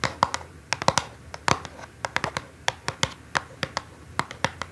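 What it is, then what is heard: Cardboard box tapped with fingernails. Long acrylic nails tap and scratch the top of a small, hollow orange cardboard perfume box marked ALIVE, lying on a dark cloth. A quick series of short, dry, bright clicks with a hollow papery tone around 1 kHz comes through, mixed with light scratching. Each click dies away almost instantly against a quiet background.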